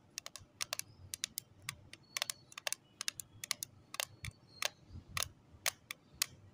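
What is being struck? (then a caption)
Small plastic lip tint case tapped with acrylic nails. Long acrylic nails tap on the lid of a small, closed pink plastic case holding lip tints, resting on cloth. A quick, irregular series of sharp, bright clicks sounds, each dying away almost instantly with little low end beneath.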